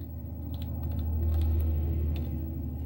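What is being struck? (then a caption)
Plastic laptop keyboard keys. Long teal-painted nails and fingertips tap rapidly on the hollow keys of a white plastic laptop keyboard with cartoon stickers on the keys. Light, bright clicks sit over a steady low hum that dominates the sound and swells slightly in the middle.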